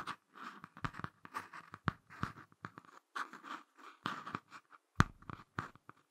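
Fingertips and short nails scratch and tap the front of a small closed Ladybird hardcover picture book with a laminated cardboard cover. The result is a quiet series of dry, brief scratches and soft taps, with a few sharper knocks standing out.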